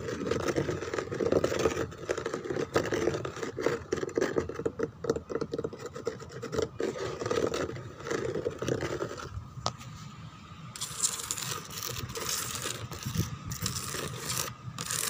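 Fingertips and then long teal nails scratch the textured rose relief on the backrest of a white plastic chair. The first half is a dense, steady rasping with a strong mid-range tone. After a sharp tick near ten seconds, the scratching turns thinner and brighter, with fine high hiss.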